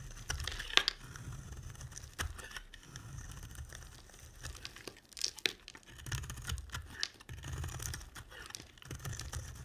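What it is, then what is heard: Bar soap being carved. A solid pink rounded bar of soap is carved with a utility knife blade, and the shavings pile up as it is cut. Dry scraping and crisp crackling cuts come in bursts, with bright high-frequency detail over a low rumble, and a few sharp snaps stand out.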